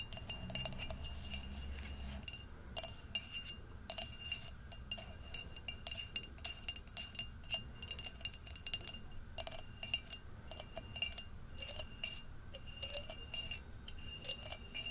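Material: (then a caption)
Glass. Long acrylic nails tap and scratch along the rim and upper wall of an empty, hollow, orange-tinted glass jack-o'-lantern candle jar with a thin wire handle, held in one hand. The result is a steady stream of quick, bright glassy clinks with a short high ring, mixed with a scratchy rasp. A faint low rumble sits underneath, strongest in the first two seconds.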